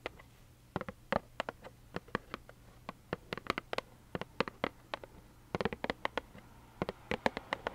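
A small, hollow plaid cardboard tissue box held in both hands is tapped with long nails, giving about thirty short, dry clicks with a hollow midrange knock and bright edges. The taps come in uneven clusters, some in quick runs, over a faint steady low hum.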